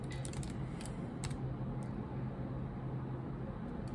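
Long nails tap and type on a laptop keyboard with black plastic keycaps, the hands staying over the keys. The sound is quiet, with light clicky taps over a steady low hum.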